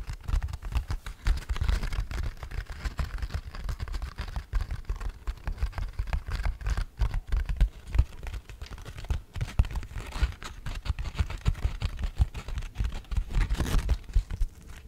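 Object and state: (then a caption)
Fine-grit sandpaper sheet. Long nails tap and scratch a thin black fine-grit sandpaper sheet held flat beside the mic, making a quick, dense patter of short, dry taps mixed with soft gritty scraping. The sound is mostly low and thumpy close up, with each tap dying away almost instantly.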